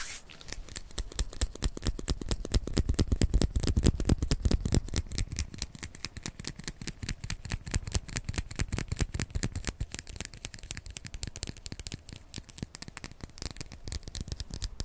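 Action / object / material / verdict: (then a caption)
scrape / small plastic lip tint tube / plastic / none. Long manicured fingernails scratch and tap a small glossy red plastic lip tint tube with a printed label, held in the hands. A dense, steady stream of quick dry clicks and scratches plays throughout, with a soft low thumping body under crisp bright edges. It swells slightly in the first few seconds, then settles into an even pattern.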